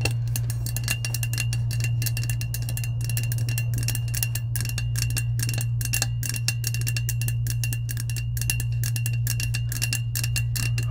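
Long acrylic nails tap rapidly on the coated side of a hollow, lilac, insulated powder-coated stainless steel tumbler, making a dense stream of bright, clicky ticks with a faint ringing tone. A steady low hum runs underneath throughout.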